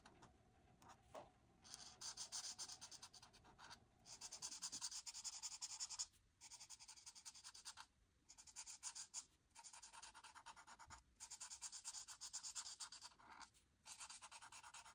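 A marker nib is rubbed in rapid strokes across a flat white paper coloring sheet to fill an orange oval area. The result is a bright, dry, scratchy rubbing that comes in bursts of quick strokes, separated by brief pauses.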